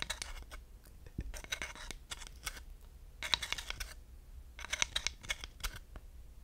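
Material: Wood.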